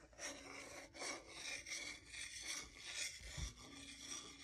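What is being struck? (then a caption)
Wooden salad fork and spoon. A solid wooden salad fork held in one hand is scraped and rubbed along a solid wooden salad spoon held in the other. It makes a quiet, dry, bright rasping sound in uneven back-and-forth strokes, with a brief low thump near the end.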